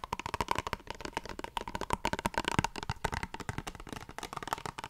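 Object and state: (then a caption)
Plastic face wash tube. Long fingernails rapidly tap and scratch the surface of a small squeezable plastic face wash tube. The result is a dense series of short, dry clicks with brief scraping sounds, with little ring and a faint steady tone underneath.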